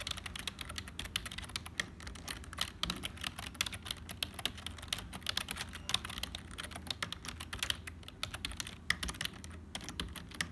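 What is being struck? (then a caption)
Plastic membrane computer keyboard. Fingertips of both hands type steadily on a black HP plastic membrane keyboard with hollow keys. The result is a dense run of short, bright, clicky taps with quick decay over a faint low background hum.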